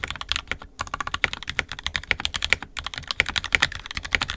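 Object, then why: Plastic mechanical keyboard. Fingertips of both hands type continuously on an NK65 Entry Edition 65% mechanical keyboard with a purple plastic case, red and black plastic keycaps, and lubed and filmed 67g Tangies switches. The result is a rapid stream of short, bright plastic clacks with very little low end and almost no ring. Two brief pauses break the typing.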